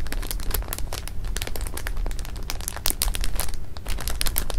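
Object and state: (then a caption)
Plastic bag of jelly beans. Fingertips press, rub and scratch at a full clear plastic bag of jelly beans lying flat on fabric, working the beans through the crinkly film. The result is a steady, dense stream of crinkling with quick bright crackles and soft crunches over a low, muffled rumble.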